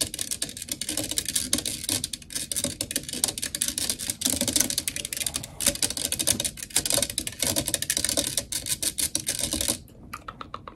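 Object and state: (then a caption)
Metal microphone grille. Long nails rapidly tap and scratch the black metal mesh grille on the hollow head of a blue desktop microphone. The result is a dense, bright stream of crisp clicks and scratchy rasps for nearly ten seconds. It then drops to a few faint, scattered taps at the end.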